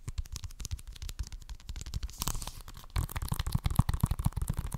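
Fingernails scratch and tap the cover of a hollow plastic Xbox One game case with a green top strip. A rapid, uneven run of dull, low, close-up taps mixes with faint scratchy rustling. The tapping grows louder and busier about three seconds in.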